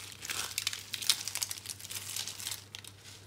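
Bare fingers crush and rub dry, brown-pink soap curls and crumbs on a green surface. The result is a quiet, bright, dry crinkling and crunching made of many quick, closely packed snaps. A low steady hum sits underneath.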